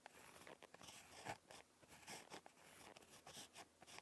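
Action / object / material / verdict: scrape / ballpoint pen on paper notebook page / paper / none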